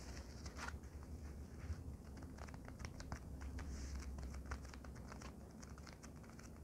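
A white polyethylene foam packing sheet is bent and folded in both hands, then laid flat and tapped with long nails. Quiet, soft crinkling and creaking give way to a run of light, dry clicks and taps over a low, steady rumble.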